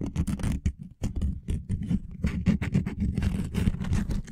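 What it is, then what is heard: Wooden lattice coaster. A small flexible wooden lattice coaster made of linked solid wood blocks is held over the top of a microphone and scratched with fingernails and fingertips. The result is a dense run of short, dry scratching taps with a low, close-up body and a bright, crisp edge. The taps come in quick, uneven bursts with almost no ring after each one.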